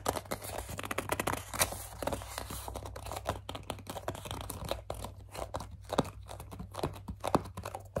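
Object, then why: Plastic pump bottle. Long dark nails grip, squeeze and scratch the sides of a hollow white plastic CeraVe foaming cleanser pump bottle. The result is a dense run of crinkly, squeaky scratches and sharp plastic clicks over a steady low hum.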